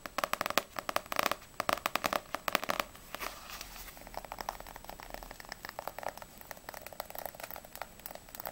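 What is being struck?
Paperback book with glossy paper cover.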